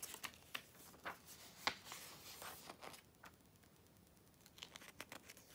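Fingers with long nails quickly turn the thin glossy pages of an open Vogue magazine, July 2013 issue, and smooth them down. The result is a quiet, bright series of crisp paper rustles and short sharp flicks with almost no low end. A louder crinkly stretch at the start gives way to softer, scattered taps and swishes.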